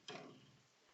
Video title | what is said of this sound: (402-P2016F) Intro to Resonance | Now when I flick it, what do I hear? A different sound, a lower pitched sound.